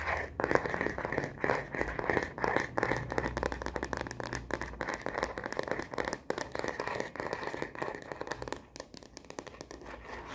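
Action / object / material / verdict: tap / plastic phone case on a smartphone / plastic / none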